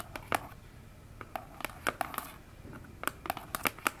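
Long nails tap and scratch the front face of a small, hollow orange cardboard box standing upright on a table. Irregular sharp, dry taps with bright tops die away almost instantly, separated by a quiet, papery scratching rustle.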